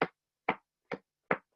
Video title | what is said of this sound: Online Class: Coloring Your World With Pencils - Michaels | It's thick enough that you can hear it